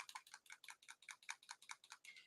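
A plastic miniature-paint dropper bottle, Army Painter brand, is shaken so the small silver metal mixing ball inside rattles in a quick, bright run of about 12 clicks. The ball keeps the paint from congealing and going solid.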